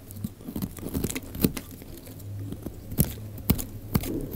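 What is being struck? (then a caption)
Bar of soap shaved with a knife blade. A utility knife blade shaves slices off the surface of a solid, rectangular, pale green bar of dry soap with embossed lettering, held in the hand. Short, dry crunching scrapes repeat over a soft low rumble, with a few sharper cuts standing out and brief bright ticks. Each cut dies away almost at once.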